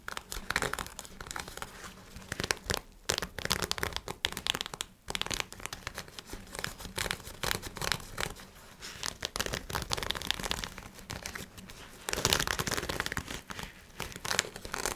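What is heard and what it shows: Nails scratch along the elastic waistband and fabric of black nylon synthetic shorts, producing a dense, bright rustling and crinkling texture with rapid scratchy strokes. Brief pauses break up the scratching near 3 and 5 seconds, and a louder, busier stretch starts around 12 seconds.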